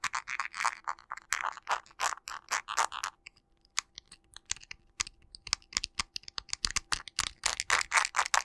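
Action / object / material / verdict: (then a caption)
tap / smartphone in plastic case / plastic / none. Fingertips and nails tap rapidly on the plastic case of a teal-cased smartphone with a panda pop-grip, held in both hands as a solid device. About forty sharp, dry, bright clicks come in quick bursts with no ringing, sparser and quieter in the middle before speeding up again at the end.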